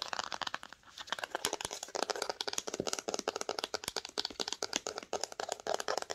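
Long acrylic nails tap and scratch along the spine of a red cloth-bound hardcover book held in the hands. The result is a rapid, uneven stream of dry, crisp clicks mixed with scratchy, crinkly crackles, bright and thin with almost no low end. Each tap stops short with no ring.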